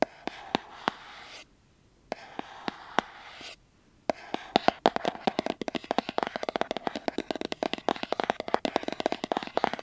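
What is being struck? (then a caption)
Small cardboard box. Fingertips and nails tap and scratch the sides of a small, hollow, white printed cardboard earbud box held close to the mic. Sparse, sharp taps with a hollow mid-pitched knock ring over a soft scratchy hiss, broken by two brief silences. From about four seconds in, the tapping becomes a quick, dense, uneven patter.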